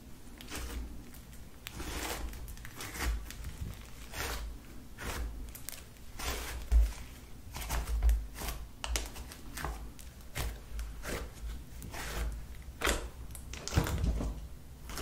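Lilac slime spread flat on a table is pressed and tapped with fingers, and long nails tap its soft, sticky surface. Quick, bright squelching clicks and wet pops repeat steadily over a low background hum, each dying away almost instantly.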